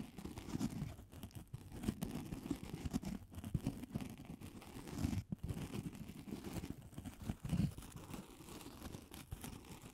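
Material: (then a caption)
Polystyrene foam. A solid, hand-sized white polystyrene foam ball is held in both hands and scratched and tapped with long acrylic nails. The result is a quiet, steady run of dense, muffled scratching and soft squeaky tapping, weighted toward low tones with almost no bright edge. Short louder bursts rise out of it near the middle and toward the end.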